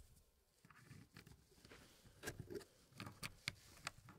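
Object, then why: Wooden puzzle pieces in a wooden tray. Gloved fingertips rub and slide solid wood pieces inside a small square wooden tray puzzle with a hardwood frame. Soft, dry scraping and patter give way to a few sharper, bright clicks as the pieces knock against each other and the frame. The sound is quiet and close, and each click dies away almost instantly.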